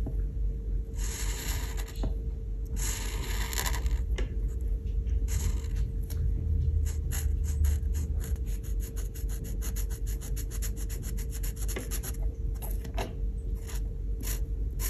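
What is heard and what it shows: A grey felt marker tip rubs back and forth across a flat printed paper coloring page of an oven drawing resting on a wooden table. Longer hissy scratching strokes give way after about six seconds to quick, dense back-and-forth scribbles of bright, papery friction. A faint steady tone and low rumble run underneath throughout.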